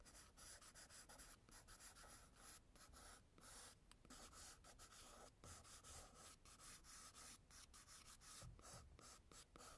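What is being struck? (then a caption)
Graphite pencil on a paper sketchbook page. An orange graphite pencil draws and scratches jagged lines across a page of a spiral-bound tan toned-paper sketchbook lying flat. The result is a steady, quiet, dry scratching with a bright, hissy edge, broken by brief pauses between strokes.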